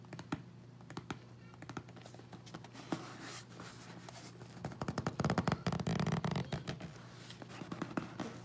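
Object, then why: Small sealed corrugated cardboard box. A small, closed, sealed corrugated cardboard Amazon box with Prime tape, hollow inside, is held in both hands and turned while fingertips and nails tap and scratch its sides. Quick, irregular, dry hollow taps and brief scratches sound over a faint low hum, with a denser, louder flurry of tapping and scratching near the middle before it eases back to scattered taps.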